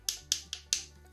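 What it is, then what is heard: Croquettes frozen solid. Frozen dried-beef croquettes made with potato dough are knocked together four times, each giving a sharp, bright, stone-like click that dies away almost at once. The hard clacks show the croquettes are frozen solid.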